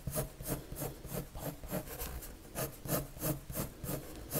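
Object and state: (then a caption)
Pencil strokes on paper. A red colored pencil rubs back and forth on a white paper drawing sheet in repeated strokes, about three per second. Each stroke makes a dry, scratchy swish that brightens into a high hiss at its peak, over a soft low rumble.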